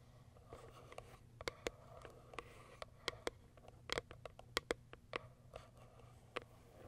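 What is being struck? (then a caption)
Small cardboard box with plastic window. Long acrylic nails tap and scratch the clear plastic top window of a small white Kiara Sky cardboard box. About sixteen sharp, dry clicks with almost no ring come through, mixed with soft scratching over a faint steady low hum.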